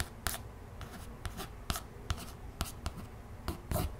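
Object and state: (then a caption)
Cardboard board book. Long nails trace and scratch across the illustration on the glossy laminated cover of a closed, solid cardboard children's board book. About nine short, dry scratching strokes, each with a bright hiss and a brief low thump, stand out over a soft continuous rubbing, and each dies away almost at once.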